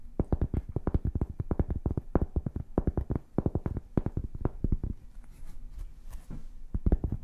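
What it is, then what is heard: Cork board tapped and scratched with fingernails. A flat, solid, hand-sized rectangular cork board is held in one hand and tapped and scratched with long painted fingernails. A fast run of dull, low, muffled taps with no ring fills the first five seconds, followed by quieter scratching and a few more taps at the end.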